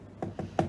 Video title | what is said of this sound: Mumtaz Network - Review Turbo Lite | Dengar dia macam bunyi kosong lah. Macam bunyi kosong.